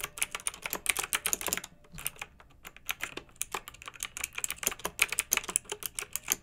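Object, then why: Plastic mechanical keyboard. Long-nailed fingertips type on a pink mechanical keyboard with round retro plastic keycaps and blue backlight, resting on a fluffy rug. Bright, crisp plastic clacks come in quick, irregular bursts with almost no low end, thinning to sparse taps for about a second before steady typing resumes.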